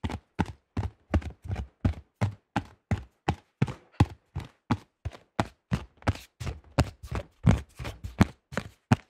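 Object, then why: Thin plastic disc golf disc. Fingertips tap quickly on the rim edge and face of a cream AGL plastic disc golf disc with a thin shell. About 30 short, dull taps come in a fast, slightly uneven rhythm, each a low hollow thump with a brief bright click and almost no ring.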